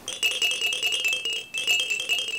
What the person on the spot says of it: 私が聞いても、他のがらがらよりこのがらがらからの音が一番キレイで 一番清らかで耳に響く音ですこれは音が一番いいんです